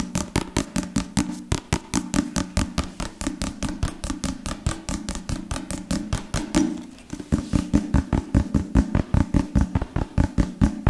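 A solid book with a dark leather or leatherette cover is held in one hand while fingertips and nails tap and scratch its surface. About fifty quick, dull, low knocks with short scratchy edges come in a fast, uneven stream, dipping briefly near the middle before picking back up louder.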